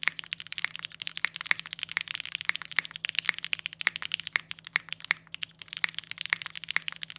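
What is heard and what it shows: Both hands type continuously with their fingertips on a compact Singa Kohaku PC R2 mechanical keyboard with a polycarbonate case, aluminium plate, Cherry MX Black switches and GMK Boneyard ABS keycaps, resting on a desk mat. A rapid, uneven stream of sharp, bright, clacky keystrokes is heard, each dying away almost instantly over a faint low steady hum.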